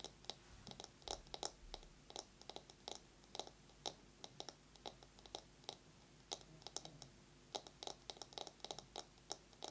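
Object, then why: Bamboo massage brush. A bamboo massage brush is tapped quickly with long fingernails and scratched. Quiet, bright, dry clicks come in irregular quick bursts over a soft hiss, each click dying away almost instantly, with no voice.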